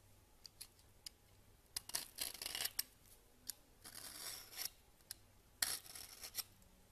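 A solid cream bar soap on a countertop is scraped with a red-handled peeler into fine shavings. Short, bright scraping strokes and clicks come in quick bursts, with a few longer rasping passes between quiet gaps.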